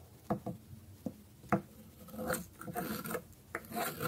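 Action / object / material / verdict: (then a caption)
scrape / bar of soap scraped with a metal blade / soap / none. A dark metal blade scrapes and shaves the edge of a small, solid orange bar of dry soap with a stamped logo, held by one hand on a wooden board, with shavings piling up beside it. Short, sharp, dry scraping clicks come first, followed by longer, brighter rasping shaves.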